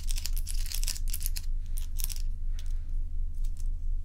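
Long nails tap on crescent-shaped ice cubes resting on a towel, and then some of the cubes are picked up in the hand. Bright, crisp clicks and crinkly crackles come in irregular bursts over a steady low hum.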